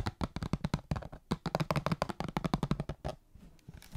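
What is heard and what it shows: A small printed cardboard Star Wars trading card box, hollow and sealed and held upright, is tapped and scratched on its sides with long fingernails. Rapid, dry, clicky taps with a low hollow tone come in quick bursts, about 25 hits in all, mixed with brief scratchy rustles that fade to softer scraping near the end.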